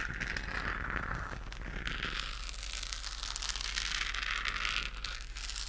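Long nails scratch a hollow, pink-lit, textured plastic galaxy moon lamp held in both hands. The result is a continuous, steady, bright scratchy crinkle that swells and eases in waves over a low, constant hum.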